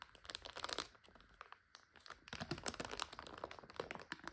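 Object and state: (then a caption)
Plastic bag of dry noodles. Long nails scratch and palms press down on a full, clear plastic bag of dry egg noodles resting on a couch, crunching the noodles inside. Bright, dense crinkling and sharp crackles come in bursts, with a quieter lull in the middle before the crunching picks back up.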